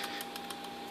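A Soeks 01M radiation detector is shaken by hand, and its plastic battery hatch rattles loose in quick, light clicking bursts over a steady high hum. The loose hatch shows poor fit and finish.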